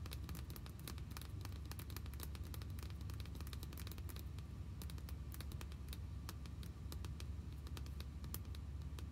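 An orange, hand-sized hollow vinyl/plastic My Little Pony figure, held up in both hands, is tapped with long nails and fingertips. Rapid, light, crisp clicks and ticks run throughout over a quiet, steady low hum.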